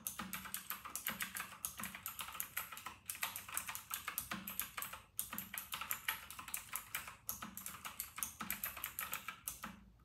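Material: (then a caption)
Plastic. Fingertips of both hands type fast on a full-size white RK960 mechanical keyboard with round retro plastic keycaps. The result is a rapid, bright stream of short clacky keystrokes with quick decay, broken by brief pauses around 3, 5 and 7 seconds.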